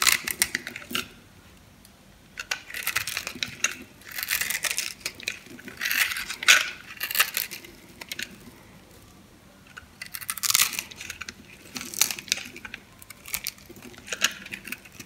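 A metal blade scrapes and cuts small cubes from a dry, solid blue bar of soap held in the hand. The sound is a series of bright, crisp crunching and crackling bursts with quiet pauses between strokes. Each scrape ends quickly with almost no ring and very little low end.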